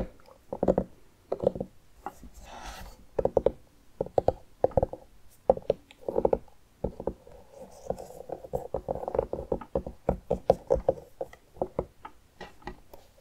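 A medium orange pumpkin with its lid cut off, hollow with seeds and pulp inside, is held in both hands while fingertips and nails tap and knock on its rind. Quick, dry, hollow knocks with a woody mid-range tone come in irregular bursts and clusters, each dying away almost instantly. Occasional softer rubbing sounds fall between the taps.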